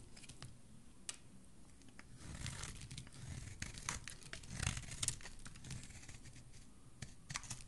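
A solid white soap bar held in the hand is sliced and shaved with a metal blade, with chunks and curls falling away. Quiet, crisp crackling and scraping cuts run throughout, with sharp bright snaps over a low rustling bed.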